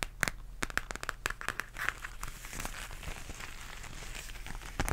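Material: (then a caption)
Faux leather. Long nails tap and scratch a flat pink embossed zipper pouch made of textured faux leather. A quick series of sharp, clicky taps gives way to a steady, soft, bright scratching and crinkling texture, all at a quiet level.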